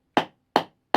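Three quick taps on the bowl of a wooden kuksa cup, partly carved out with an adze used as a hand chisel, each give a short, hollow, woody knock with a mid-range tone that dies away almost at once. The hollow resonance through the wood shows the bowl is getting deep and its walls thinner, so the carving must go carefully to avoid cracking it or going through the bottom.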